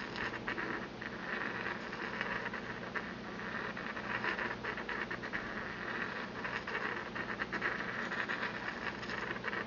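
A porcelain pestle is ground around the inside of a small, empty white porcelain mortar held in the palm. It makes a steady, rapid, scratchy rubbing with a bright, gritty band centered near 1.8 kHz. Faint low hum sits beneath it throughout.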